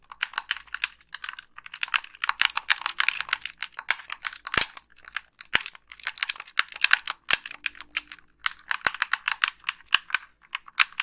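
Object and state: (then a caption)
Plastic game controller. Long nails tap and click the buttons of a white, hollow, wired plastic game controller held in both hands. The result is a rapid, irregular stream of sharp, bright plastic clicks with very short decay and almost no low end. The clicks come in dense bursts separated by a few brief pauses.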